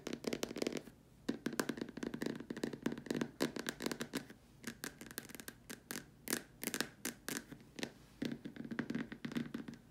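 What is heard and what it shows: Long dark nails tap and scratch the top rim and sides of a large, hollow, white plastic dome lamp shade. The result is a dense stream of quick, dry clicks and scrapes with a hollow, low-mid resonance around 270 Hz. Each tap dies away almost instantly, and bursts of rapid tapping alternate with brief pauses.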